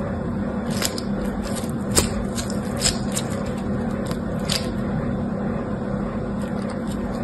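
Yellow-green foam-bead slime (floam) is squeezed and folded in both hands with the fingertips. A steady low, muffled rumble runs throughout, broken by scattered short, bright crackles and pops as the beads shift, with a few slightly louder snaps standing out.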